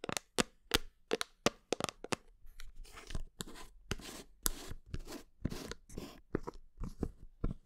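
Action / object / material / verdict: tap / plastic supplement tub / plastic / none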